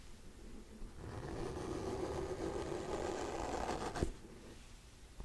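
Fingernails scratch across the solid cardboard-and-paper cover of a hardcover book, making a steady, dry, papery rasp that swells in after a quiet start and holds for about three seconds. It ends with a sharp tap on the cover, followed by fainter scratching and one light tap.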